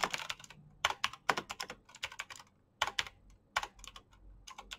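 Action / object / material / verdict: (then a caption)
tap / plastic mechanical keyboard keys / plastic / none. Fingertips with short painted nails type fast on a black plastic mechanical keyboard with backlit keycaps. About 27 sharp, bright, clicky key taps come in quick bursts with short pauses between, each dying away almost instantly.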